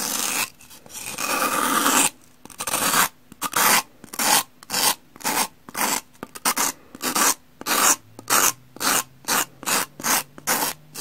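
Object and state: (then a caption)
Pumice block scraped with a knife. A metal knife blade scrapes across the cream face of a solid, porous, two-layer pumice block held in the hand. A long, gritty, bright rasp is followed by a steady run of short, sharp scraping strokes that grow quicker toward the end.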